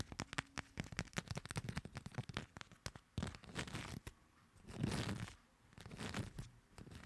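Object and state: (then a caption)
Paper playing cards. Long two-tone nails tap and scratch across a fanned deck of coated paper playing cards. Quick, irregular dry clicks with crisp high edges fill the first three seconds, then give way to rustling, crinkly scratching that swells into longer scraping sweeps before more light tapping returns.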